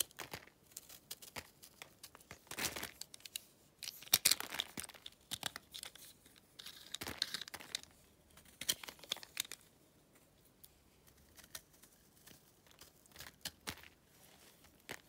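A utility knife scrapes the surface of a solid, pale, dry clay lump held in the hand, knocking off flakes and powder. The result is a series of quiet, dry, bright scratching and crackling rasps in short uneven bursts, with almost no low end and no ring after each stroke.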